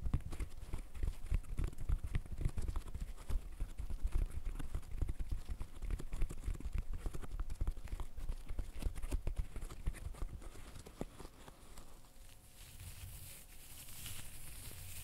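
Gloved fingertips press and pop the bubbles of a green silicone pop-it fidget toy, producing quick, soft, dull pops in a rapid, uneven stream. The pops are muffled and low, with short bursts of faint crinkly texture. After about ten seconds they grow sparser and quieter, and a faint high hiss remains toward the end.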